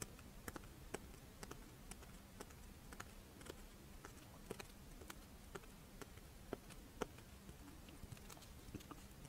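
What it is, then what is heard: Crisp rice wafer monaka. Long nails tap and scratch across the scale pattern of a pink, fish-shaped strawberry rice wafer monaka held upright. Quiet, crisp, sharp clicks ring out repeatedly over a soft, steady scratching texture, with a faint low hum underneath.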